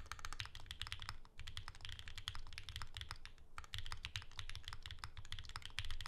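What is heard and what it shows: Continuous fingertip typing with both hands on a pink Bear 65 ergonomic Alice-layout mechanical keyboard with plastic keycaps and a hollow case, resting on a desk mat. A rapid stream of short, bright clacks rides over a low, hollow thud, with brief lulls near 1.3 and 3.5 seconds.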